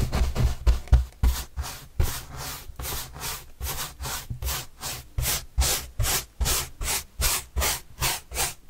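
A paintbrush sweeps in repeated strokes across a large white printed corrugated cardboard box panel held by hand. Each stroke is a dry, bright scratchy swish over a soft low rumble, blurred together at first and then settling into distinct, evenly spaced strokes.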